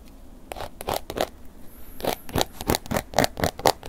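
A wooden ear pick scratches the textured surface of a tilted black woven-embossed leather long wallet. It makes quick, irregular dry scraping strokes, each short and rasping with a bright edge, and they grow louder and closer together toward the end.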